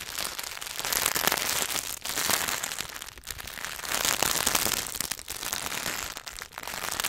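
A Hershey's milk chocolate bar in its paper and foil wrapper is held upright while fingertips and nails tap rapidly on the wrapper. It makes a dense, bright, crinkly crackle of quick taps that swells and eases in waves, with brief dips around 2, 3, 5 and 6.5 seconds.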